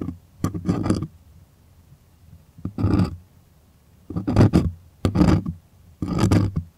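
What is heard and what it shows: Fingernails rapidly scratch the taut surface of a white, stretched, primed cotton artist canvas held close. The result is short bursts of dry, rasping scratches separated by quiet pauses, with a low, heavy body and bright, airy edges.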